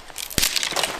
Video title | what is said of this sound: Cuál es la mejor Leña 🪵 para FOGATA. #manadacampista #camping #campingtent | cuando la madera está seca siempre va a emitir ese tipo de sonido